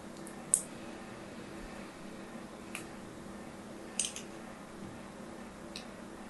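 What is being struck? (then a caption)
Striped bar soap and thin needle. A thin needle, held in fingers with long nails, scores and scratches a solid, hand-sized orange and white striped bar of soap. Five short, bright, crisp scratches stand out, including a quick double scrape near the middle. Between them is a quiet, steady low hum.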